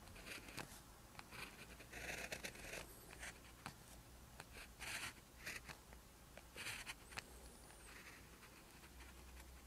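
An orange ballpoint pen writes short strokes of Korean characters on a lined paper sheet resting on a hard surface, its tip staying in contact with the paper. Bright, dry scratching comes in short bursts over a faint steady low hum.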